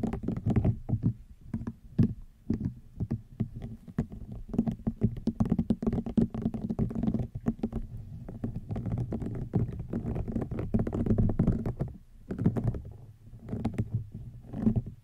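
Fingernails tap and scratch along the weave of a woven rattan wicker basket, producing a dense run of soft, dry, low clicks and rustling scrapes with almost no ring. The tapping continues steadily throughout, rising and falling in loudness.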